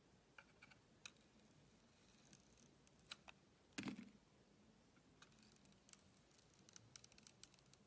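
A solid green-and-white striped bar soap with a blue coating is held in hand while a box-cutter blade slices layers off it. Quiet, sparse crisp scraping clicks with bright edges sound over low background hiss. One louder, fuller cut lands near the four-second mark.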